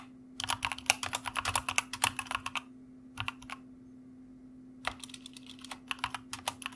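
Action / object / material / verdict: tap / plastic mechanical keyboard / plastic / none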